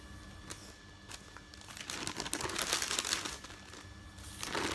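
Fingertips rub, lift and crinkle the sheets of a folded stack of thin printed newsprint resting on a bed. Soft, sparse rustles build into dense, bright crinkling and crackling that swells in the middle, eases off, then rises again at the end.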